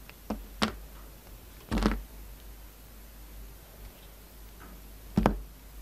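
A palm-sized, rectangular solid black soap bar with red, purple and white stripes is held in hand while its edges are sliced and cut with a yellow-handled utility knife. Short, dry cuts and soft knocks sound out with a dull low body and a quick, barely ringing decay. Quiet pauses fall between the cuts.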